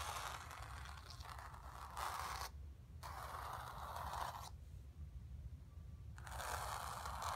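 Long nails scratch and rub across the surface of a painted stretched canvas. Dry, rough scraping comes in bursts centered in the midrange with a bright hiss, separated by short quiet gaps, over a steady low rumble.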